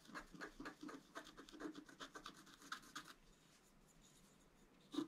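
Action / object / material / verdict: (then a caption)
scrape / black-coated scratch art paper card scraped with a wooden stylus / coated paper / none. A wooden stylus scratches the flower area of a flat, black-coated scratch art card, making a quick run of short, dry, rasping strokes with bright edges for about three seconds. Then comes a near-silent pause, and the stylus is lifted at the end with one sharper scrape.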